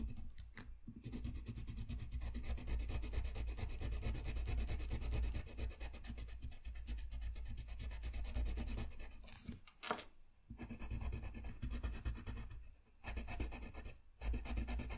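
A dark blue colored pencil scratches and rubs in shading strokes over a thin, solid sheet of flat white drawing paper resting on a desk. The result is a steady, dense, low-heavy scratching with a papery texture, broken by brief pauses around ten and thirteen seconds.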